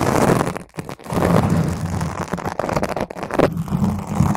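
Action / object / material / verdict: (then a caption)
scrape / foam microphone windscreen / foam / none. Long nails scratch a round purple foam microphone windscreen while one hand grabs over the top. The result is a dense, continuous, muffled rumbling scrape heavy in the low end, with brief near-silent dips around the first second before the crackling friction picks back up and carries on to the end.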